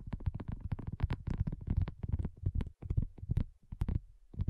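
Long nails tap rapidly on a flat, round, pink dotted silicone coaster that is thin and solid. The result is a quick, uneven run of soft, dull taps with a deep low thump and almost no ring, and brief pauses near the end.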